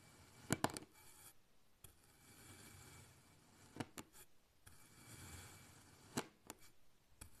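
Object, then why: Kinetic sand block cut with a knife. A black kitchen knife slices thin layers from a solid pink kinetic sand block, and the layers fall over in a row. Soft, crumbly cutting and scraping rasps along between eight sharp, short ticks as the blade meets the sand and the slices topple.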